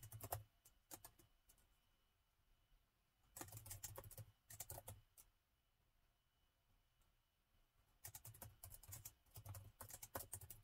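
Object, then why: Plastic laptop keyboard. Fingertips of both hands type on the black plastic keys of a gold laptop keyboard. Quick bursts of soft, clicky keystrokes with a low thump and bright ticks are separated by quiet pauses of a second or two.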